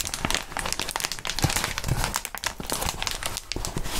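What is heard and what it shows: Gloved hands squeeze and crinkle crumpled clear plastic bubble wrap. The result is a dense, continuous crackling of bright, sharp crinkles over a low rustle, with the sound swelling and easing as the wrap is worked.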